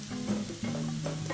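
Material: Nothing is struck.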